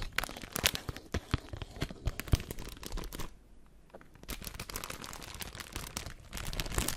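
A clear plastic bag of white disposable face masks is handled and crinkled with fingertips and long nails close to the microphone. Dense, crackling crinkles and sharp taps with a low thump beneath fill the first three seconds, drop to a near-quiet lull, then resume as a steadier, softer rustle that swells again toward the end.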